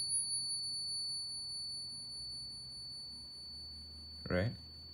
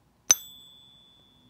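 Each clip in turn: First: real 22 karat gold coin. Second: genuine 24k gold coin.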